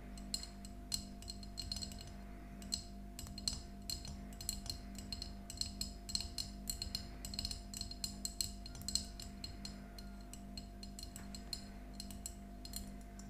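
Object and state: Glass jar mug tapped with nails.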